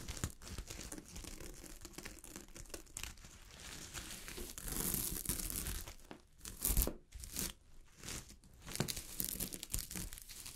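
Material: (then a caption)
Sequins. Long glittery fingernails scratch a sheet of fabric covered with small gold sequins, producing a dense, rasping crinkle with bright, hissy edges over a low, rumbling body. The strokes come in uneven bursts, with a louder, sharper flurry of scrapes near the middle before settling back into steady scratching.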